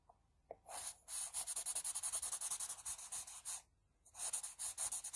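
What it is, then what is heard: Pencil shading on drawing paper. A wooden HB pencil, held at a low angle, shades the hair area of a pencil portrait on flat drawing paper in quick strokes. The graphite makes bright, hissy scratching and rubbing sounds in a fast, uneven run, then pauses briefly before another burst of strokes.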